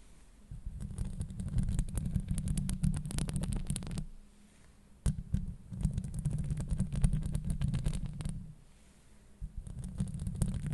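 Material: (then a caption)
Metal mesh. Long acrylic nails scratch and tap on the metal mesh grille of a Blue Yeti microphone, producing a deep, boomy rumbling scrape with dense bright clicks. The sound comes in three stretches of rapid scratching separated by brief quiet pauses.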